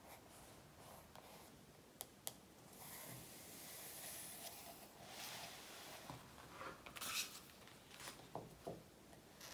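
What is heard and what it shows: Long natural nails and fingertips tap and scratch the glossy softcover of a large, thin, solid paper practice workbook lying on a wooden table, making quiet, bright scratchy rubbing with a few sharp clicks. Midway the book is lifted and flipped over, adding some page and cover handling noise, with no voice heard.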